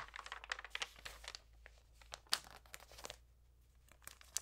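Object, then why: Glossy paper magazine pages. Flat hands and long nails rub and crinkle the damp pages of an open glossy magazine with portrait pages lying flat on a table, then turn a page. Quiet, bright crinkles and sharp crackles come in quick bursts with almost no low end, separated by brief near-silent gaps.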